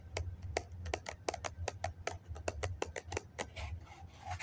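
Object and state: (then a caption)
Foam cup. Fingernails tap quickly on the side of a hollow white foam cup held in both hands, making about nineteen short, dry, clicky taps with a hollow midrange tone and a bright crackle. A steady low hum runs underneath the whole time.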